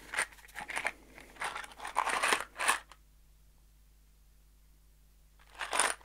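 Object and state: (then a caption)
Cardboard box with screws. A small kraft cardboard box holding screws is turned in both hands and shaken, giving quick bursts of bright, crunchy rattling as the screws slide and knock inside. The shaking runs for about three seconds, falls silent apart from a faint low hum, then returns in one last short rattle near the end.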